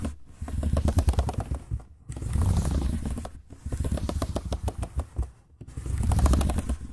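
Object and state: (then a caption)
Plastic laptop keyboard being typed on. Fingertips type quickly across the plastic chiclet keys of a silver laptop keyboard, producing dense bursts of soft clicking taps. The typing comes in runs separated by brief pauses, with a close, heavy low-end thump under each flurry of key presses.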